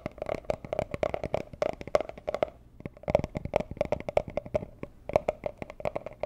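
Long nails tap a small, hollow, rigid teal cardboard jewelry gift box in a quick, uneven run of dry clicks. Each tap carries a hollow papery tone around 600 Hz and dies almost at once, with faint scratchy edges between the taps.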